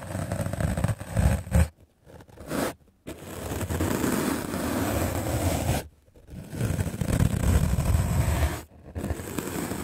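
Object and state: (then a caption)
Melamine foam sponge being brushed. A medium black-bristle paint brush scrubs aggressively across a white rectangular magic eraser block of solid melamine foam held in the hand. The result is a dense, rough scratching and rasping sound with a heavy low rumble, coming in sustained bursts broken by a few brief silent pauses.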